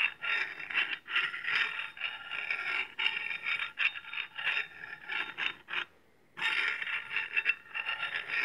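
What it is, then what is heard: Steel cleaver sharpened on a honing rod. A steel honing rod is scraped repeatedly across the edge of a wide, flat, solid steel cleaver blade held in one hand. The result is a run of bright, rasping metallic strokes centered near 2.7 kHz, broken by a brief silence before the scraping resumes.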